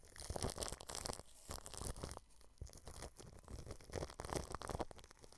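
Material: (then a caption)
Plastic film. A paintbrush brushes clear plastic cling film wrapped over a microphone grille, moving to different spots on the film. The result is bursts of crinkly, crackling rustle with a heavy low rumble, broken by brief quieter gaps between strokes.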